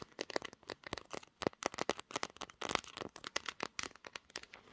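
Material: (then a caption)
Glass. Long nails tap and scratch the back panel and camera bump of a pink glass-backed smartphone, which is also doing the recording. Around thirty quick, dry clicks and scratchy crackles sound in a rapid, uneven stream. They are bright with almost no low end and stop short with no ring.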